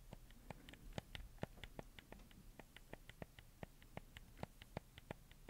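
Fingertips tap and click the buttons and D-pad of a black handheld PS4 game controller with a hollow plastic shell, held close to the mic. A steady run of short, sharp plastic clicks with a bright edge sits over a low, quiet background hum, each click dying away almost instantly.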